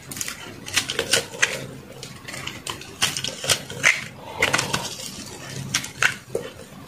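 A metal knife scrapes and cuts crumbly flakes from the edge of a solid white soap block held in the palm. Bright, crisp scraping and crunching bursts come in an uneven rhythm, each short and dry with almost no low end. Brief quieter rasping fills the gaps between the sharper cuts.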